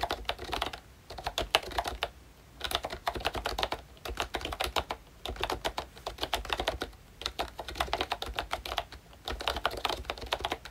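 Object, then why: Plastic membrane keyboard with round keycaps. Fingertips of both hands type on a full-size pink ROYCHE Disney Mickey Mouse retro keyboard with a plastic case, round dark green plastic keycaps and membrane switches. Quick, soft plastic taps come in bursts with short pauses between, each click dry and clipped with little ring.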